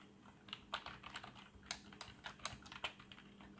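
Fingertips press and tap the keys of a black plastic membrane keyboard with RGB backlight, first with one hand and then with both. An irregular run of soft, short, bright clicks and taps, each dying away almost instantly, sits over a faint steady low hum.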